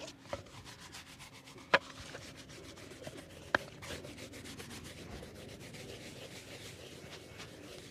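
The bristles of an orange-handled shoe brush rub over a hollow, empty brown leather slip-on shoe held on a wooden board. A steady, soft scratchy brushing continues throughout, broken by a few sharp clicks, with no ring.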